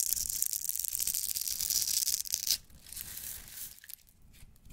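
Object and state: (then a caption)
Bar of soap being shaved. A metal blade scrapes and shaves the face and edges of a solid, embossed pink striped bar of soap held in the hand, leaving crumbly shavings. A dense, bright, dry rasping fills the first two and a half seconds, then drops to quieter, softer scraping strokes that fade toward the end.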